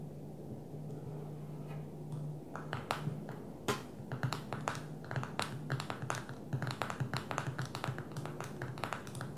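A fingernail taps on the glass touchscreen and edges of a small black smartphone lying flat on a table. Quick, sharp clicks come in irregular bursts after a quiet start, over a steady low hum.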